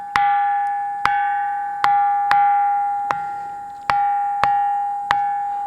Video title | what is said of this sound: నిర్మల్ గండి రామన్న ఆలయ వింత: సంగీతం పలికించే అద్భుత శిలలు! -Musical Stones In Gandi Ramanna Temple | ఎక్కడ కొట్టిన గాని అద్భుతమైనటువంటి స్వరాలు వస్తాయి. ఇది మనకి ఆలయాలలో కంచు గంటలు మోగినటువంటి శబ్దాన్ని పోలి ఉంటుంది.